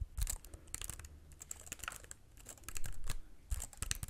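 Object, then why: Plastic computer keyboard. A slim white wireless computer keyboard with plastic keys and a hollow, flat body is held in both hands while fingertips tap and press the keys. The result is a quiet, irregular stream of short, dry clicks with bright edges over a low thump, with some bursts clustering more densely than others.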